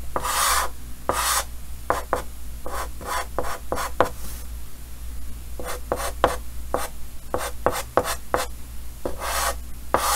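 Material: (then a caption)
Chalk. Yellow chalk held in the fingers hatches and scratches across a large, solid, flat painted chalkboard with a green frame. Short, dry raspy strokes come in quick bursts, some longer gritty scrapes reaching bright and high, over a steady low hum.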